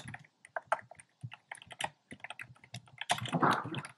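Fingertips with short nails type on a compact plastic mechanical keyboard with a black plastic case and round pink, red and cream plastic keycaps. The result is a quick run of short, bright clacky key taps with a little low thock beneath. The taps grow faster and denser into a steady clatter near the end.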